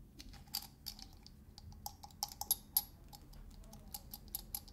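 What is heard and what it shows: Fingernails scratch and tap the ridged metal dome lid of a small glass salt shaker in quick ticks. Quiet, bright, dry clicks come in an irregular patter with very short decay, and a few sharper taps stand out above a soft scratching hiss.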